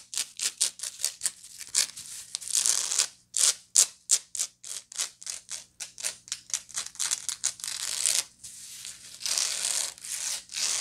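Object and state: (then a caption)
Woven straw bag being scratched. Long nails scratch the flat woven side of a hollow, medium woven straw bag with small wooden toggles. The result is a rapid series of dry, bright, hissy scratching strokes, some short and clipped, others longer rasping passes. There is almost no low end.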